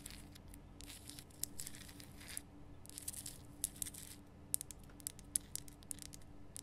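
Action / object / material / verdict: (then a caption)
scrape / rock salt lamp / rock salt / none. Long painted nails scratch and tap the rough crystal surface of a large, lit pink Himalayan rock salt lamp made of solid rough salt. Bursts of bright, gritty scraping alternate with sharp, quick taps over a steady low hum.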